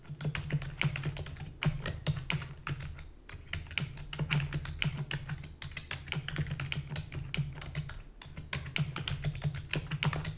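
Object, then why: Plastic computer keyboard. Fingertips with long natural nails rapidly press the keys of a black full-size plastic computer keyboard with hollow key housing. The result is a fast, continuous stream of short, bright, clacky key taps over a steady low hum, with brief pauses between bursts of typing.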